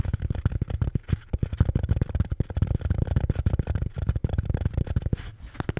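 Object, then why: Beer can holder. A red Bintang beer can holder is tapped and scratched with quick, steady strokes. The sound is a dense run of dull, low, muffled thumps that die away almost at once, with soft scratchy rustling between them.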